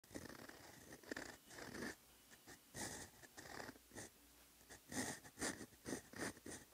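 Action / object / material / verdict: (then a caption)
scrape / lined paper notebook page under a steel fountain pen nib / paper / none. A steel extra-fine fountain pen nib (Twsbi Eco EF) loaded with peach ink scratches across a lined paper notebook page lying flat as Korean letters are written. Short raspy strokes with a bright, hissy edge come in bursts, separated by brief quiet pauses between letters.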